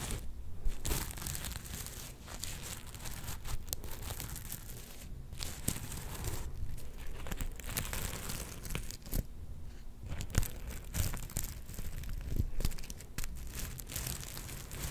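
A hand-sized soft star covered in black and gold plastic sequins on fabric is held in both hands and scratched and rubbed with long painted nails and fingertips. The result is a steady, close crinkling and scratchy rustle, broken by brief sharper clicks and brushing sweeps of the sequins over about fifteen seconds.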